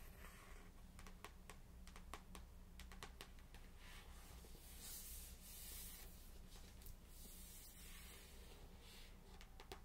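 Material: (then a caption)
Paper. Long pink acrylic nails tap and scratch the glossy card front cover of a Harry Potter and the Philosopher's Stone paperback, a solid paper book held in hand over its boxed set, before it is turned to show the back cover. Quiet, sharp clicking taps are heard over soft scratchy rubbing and a steady low hum.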